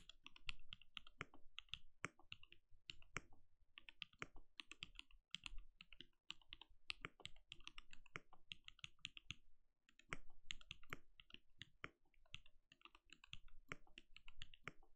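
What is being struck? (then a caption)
Mechanical keyboard with plastic keycaps. A compact RGB-lit mechanical keyboard with a translucent plastic case and plastic keycaps, resting on a desk, is typed on steadily with the bare fingertips of both hands. Rapid, short plastic clacks with a soft low thump and a bright click follow one another in a dense, uneven rhythm, broken by a few brief pauses.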